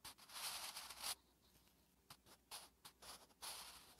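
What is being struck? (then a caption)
Graphite pencil on a paper notebook page. A wooden graphite pencil held in the fingertips writes Korean letters on a thin lined notebook page resting on a flat surface, the graphite scratching across the paper. A long, bright, hissy scratching stroke runs through the first second. It is followed by a quiet pause and then several shorter, separate scratching strokes.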